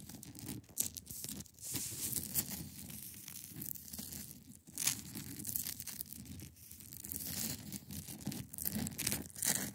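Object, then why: Block of ice. Long pointed nails scratch across the top and sides of a large, solid, clear ice block resting on a fabric surface. The result is a steady, dry, bright scraping hiss with a low rumbling undertone, swelling into louder rasping bursts.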